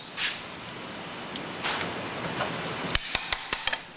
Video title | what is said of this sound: Comanche's 1000 Gear AD Video by Hans Neubert and George Mahurin | I'll tap it in place there. It sounds like pay dirt.